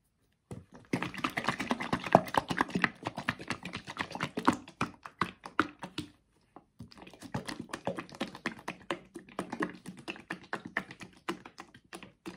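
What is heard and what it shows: A small Pomì tomato sauce carton of laminated paperboard with a green plastic cap, full of thick sauce, is shaken in the hands. It gives a rapid stream of soft, dull thunks and wet sloshing taps. The shaking comes in two long bursts separated by a brief pause.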